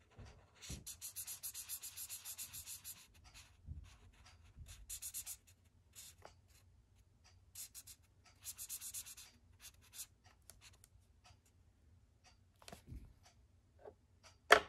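A thick red felt-tip marker draws and fills in a shape on a white paper sketchbook page resting on a wooden desk. Bursts of bright, scratchy squeaks and rubbing strokes come and go with short pauses in between. Soft low thumps are heard throughout, and a sharper tap lands at the very end.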